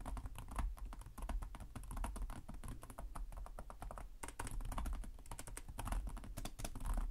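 Fingertips of both hands tap rapidly on the low-profile plastic chiclet keys of a black laptop with a hollow body, in continuous typing. Dense, quick clicks with very short decay run throughout, over a steady low hum.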